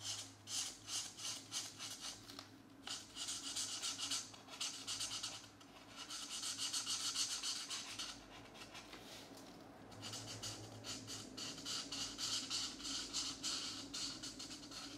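A marker colors shapes green on a paper coloring book page resting on a desk, using repeated rubbing strokes across the paper. The strokes make a bright, scratchy rasp that comes in rhythmic bursts, pauses briefly around the eighth second, then resumes at a steady pace.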